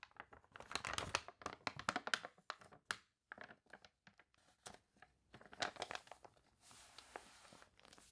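Long nails rub and scratch the crinkled pages of a water-warped glossy paper toy catalog as the pages are turned, partly in close-up. Quick bursts of dry, crunchy crinkling and rustling with bright highs are broken by a short silence near three seconds, and the clip ends in a steadier, softer scratching hiss.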